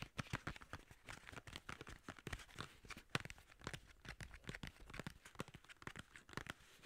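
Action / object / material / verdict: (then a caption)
tap / narrow paperboard box / paperboard / none. Fingers and nails tap and scratch the sides of a long, narrow, hollow white paperboard skincare box with a yellow label. The result is a rapid, uneven stream of short, dry taps with a hollow thump beneath them, mixed with crinkly scratching and bright papery rustle. Each sound cuts off almost instantly.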